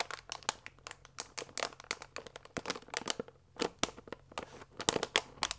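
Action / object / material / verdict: scrape / paper pasta bag with plastic window / paper / none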